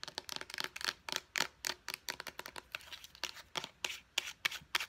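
Long painted nails quickly tap and click on a small, hollow white plastic face wash bottle with a purple pump top. The result is a rapid, uneven run of dry, bright plastic clicks with almost no ring and little low end.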